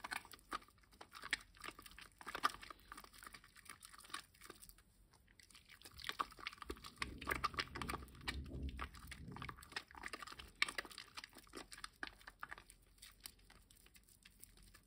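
A wet, lathered green solid rectangular bar of household soap is rubbed and squeezed between both bare hands over a basin of water. It makes quiet, dense, bright squelching and crackling clicks, with a fuller, lower sloshing swell midway through before settling back to soft sticky pops.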